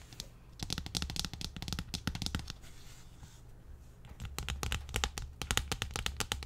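A large, thin, hollow-backed pink textured plastic tray lid is turned around and held overhead while nails tap and scratch its textured face and underside. Bursts of quick, crisp clicking and rasping scratches come in rapid clusters, with a softer scraping stretch in the middle.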